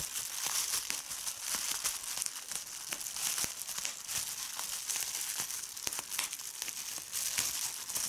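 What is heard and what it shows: A large clear sheet of plastic bubble wrap with air-filled bubbles is lifted and crumpled by fingers with red-painted nails. It gives a steady, bright crinkling with sharp crackles scattered throughout.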